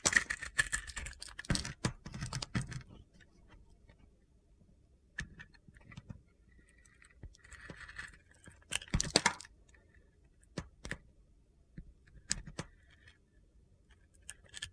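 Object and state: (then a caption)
Bar of soap being shaved. A utility knife blade slices shavings off a solid bar of soap with a white core and glitter coating. A dense burst of crisp, crunchy scraping comes first, followed by sparser sharp clicks and short gritty scrapes with bright, high edges between quiet gaps.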